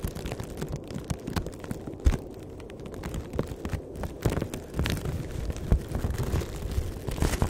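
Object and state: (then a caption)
Crinkled plastic bag. A thin, empty black plastic bag is crinkled and rubbed between both hands, giving a steady, dense crackling rustle. Sharp louder pops break through now and then, and most of the energy sits low and muffled.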